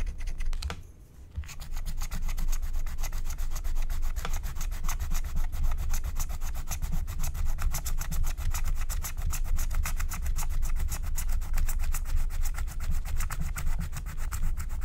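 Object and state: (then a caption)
Wax-coated scratch-art card being scraped. A wooden stylus scrapes a flat, thin, black wax-coated paper scratch-art card with rapid back-and-forth rubbing strokes. After a brief pause near the start, the dry scratching runs continuously at about four strokes per second, with a low rumbling body under a bright, gritty rasp on each stroke.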